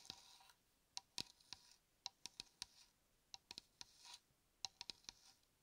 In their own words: 05:24 – 08:15 Tapping and scratching shaving cream can